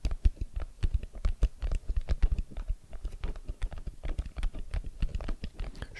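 Fingertips rapidly tap a small, hollow, white rigid cardboard iPhone XS Max retail box held in both hands with its long side facing forward. The taps are quick, soft, dull thumps with low, hollow body and almost no brightness, each dying away at once. The result is a steady, irregular patter of muted knocks.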